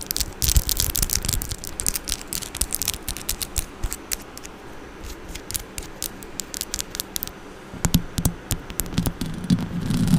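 Long orange acrylic nails scratch and tap the metal mesh grille of a Blue Yeti microphone. Rapid, dense bright clicks and scratchy rasps sit over a heavy low rumble, easing off in the middle before growing louder again toward the end.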